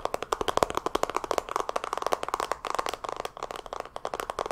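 A pink rectangular makeup palette compact with an embossed pattern and a hollow plastic case is held in both hands and tapped rapidly with long fingernails, then handled and opened. About thirty sharp, dry cracks and clicks follow in quick succession, centred in the mid range around 500 Hz to 1 kHz, with almost no low end and very little ring after each hit.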